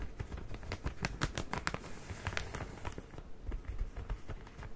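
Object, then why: Soft plastic bag filled with cotton pads. A medium, soft plastic bag filled with cotton pads is held in one hand and squeezed and crinkled with fingertips and painted nails. It makes quick, irregular crinkles and crackles with bright, sharp edges over a soft, low rustle. The sound stays close and quiet throughout.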